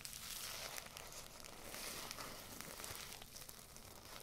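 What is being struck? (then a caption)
Filled paper tea bag. A small filled paper tea bag with a string and red tag is rubbed and crinkled with fingertips and long nails close to the microphones. It gives a steady, quiet, bright papery crinkling and scratching, with small crackles scattered throughout.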